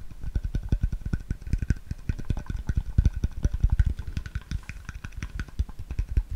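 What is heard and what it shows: A clear, labeled plastic water bottle, hollow and mostly empty, is held sideways and tapped and scratched with fingertips and nails. The result is a rapid, irregular run of dull, low, hollow thumps, with faint, bright, scratchy clicks over the top.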